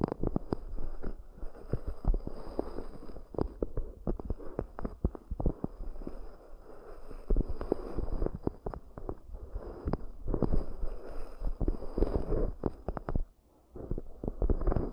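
Long nails scratch and tap the curved outer walls and rims of two identical small, round, hollow, empty cork coaster bowls. The result is a dense, irregular stream of soft, dull, low-heavy taps over a rough scratching texture, each tap dying away quickly. There is a brief pause near the end before the tapping resumes.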